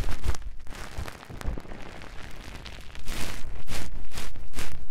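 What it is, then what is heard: Cling film crinkling over a microphone. Clear plastic cling film, bunched into a fist-sized round muff over a Tascam microphone, is scratched and lightly tapped by the fingertips and long nails of both hands. The result is a dense, crinkly crackle with low, close thumps. It stays quieter through the middle, then turns louder with bright crinkling bursts near the end.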